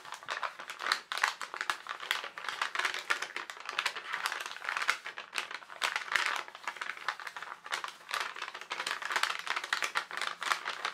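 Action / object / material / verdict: shake / tracing paper sheet / paper / none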